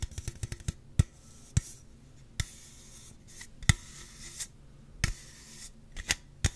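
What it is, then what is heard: Aluminum drink can. A slim Celsius aluminum drink can, hollow and possibly full, is held in the hands and tapped and scratched along its side with fingertips and nails. A quick flurry of light taps gives way to fourteen sharp, dry hits in all, more widely and unevenly spaced, each a short low thump with a bright click. Soft scratchy rubbing fills the gaps between them.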